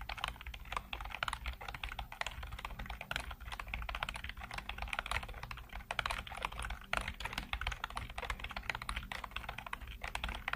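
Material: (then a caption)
Plastic. Fingertips type continuously on a black plastic full-size computer keyboard with hollow keycaps. The result is a steady, rapid patter of short, dry clicks and clacks with a bright clatter, each tap dying away almost instantly over a faint low rumble.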